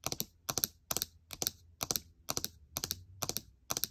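Long nails rapidly tap the plastic keycaps of a gold MacBook Air keyboard. The result is quick clusters of sharp, bright clicks that repeat in short bursts, each click dying away almost instantly.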